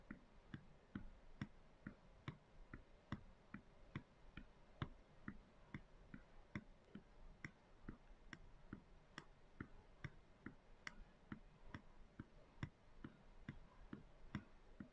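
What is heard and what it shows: Long acrylic nails tap repeatedly on the wall of a clear plastic canister with a white lid, full of dry soy chunks and lying on its side. About 35 short, dry clicks sound at an uneven pace, each with a low knock and a bright tick that dies away almost instantly.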